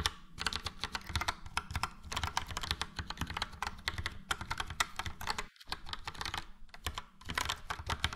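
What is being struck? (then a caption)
Plastic mechanical keyboard. A full-size Logitech POP Keys plastic mechanical keyboard, with a yellow frame and round dark grey and light grey typewriter-style keycaps, is typed on with the fingertips of both hands. A rapid, steady stream of short, bright clacks with a low, hollow thock beneath each keystroke fills the clip. There is a brief pause near 5.6 seconds before typing resumes.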